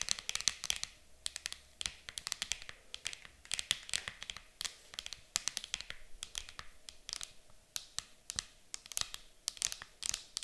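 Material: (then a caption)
Plastic. Long nails tap and scratch the lid of an empty, transparent hard plastic game case lying flat. Dozens of quick, bright plastic clicks come in uneven bursts, with faint scratchy rustling between them and almost no low end. Each tap stops dead with no ring.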